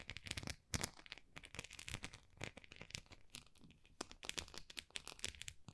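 Long nails scratch and tap the textured, dotted face of a small, solid white plastic rice paddle. A dense run of quick, bright, crackly scratches and crisp taps follows, with short bursts separated by brief quieter gaps and almost no ring after each touch.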